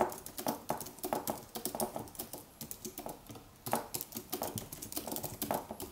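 A slim Apple wireless keyboard with an aluminium body and white plastic keys, resting on a white desk, is typed on with fingertips in continuous taps. The result is a steady stream of soft, short, clicky key taps centered in the low-mids with a little bright edge, with a brief lull near the middle before the typing picks back up.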